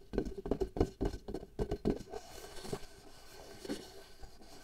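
Long nails tap and scratch a taut, pale latex glove membrane stretched over the mouth of a small hollow glass jar held in one hand, at times near the jar rim. A quick, uneven run of dull, hollow taps with a low resonant tone and very short decay fills the first two seconds, followed by softer scratching and a few scattered taps.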